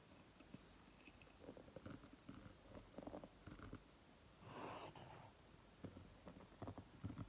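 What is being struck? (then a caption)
Small glass jar filled with wax. Long fingernails tap and scratch the glass rim and sides of a small candle jar filled with green wax, standing on a table. Quiet, sharp clicks scatter through the clip, and a longer soft scratching swell rises in the middle.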